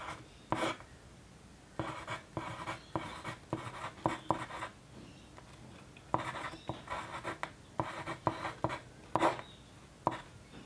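The sharpened tip of a wooden pencil scratches across a thin, flat white paper sheet lying on a desk during continuous writing. Quiet bursts of dry, papery scratching strokes come and go, separated by brief near-silent pauses.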